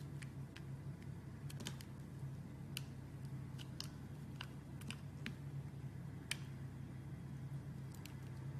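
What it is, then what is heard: Glycerin soap bar being carved. A small, solid rectangular bar of clear glycerin soap with orange and white stripes inside is held in one hand and cut and scraped with a steel utility-knife blade. Quiet, crisp little clicks and scraping snaps pop out over a steady low hum throughout.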